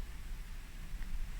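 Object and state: Nothing is struck.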